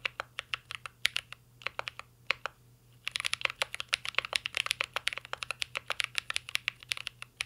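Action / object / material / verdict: tap / mechanical keyboard with metal case and plastic keycaps / plastic / none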